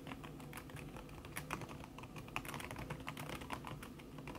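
Fast typing with fingertips and long red-painted nails on a thin backlit aluminium keyboard whose plastic keys sit under a red silicone skin. A steady stream of quick, soft, muffled taps with brief bright clicks runs throughout, each tap dying away almost at once.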